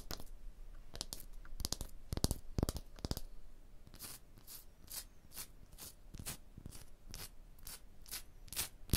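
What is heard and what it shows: Long blue nails tap and scratch a solid, rough, striated stone block wall. Sharp, dry taps come in quick clusters, then give way to steady, rhythmic scratching strokes with a bright, gritty hiss. Each sound dies away almost instantly at a quiet level.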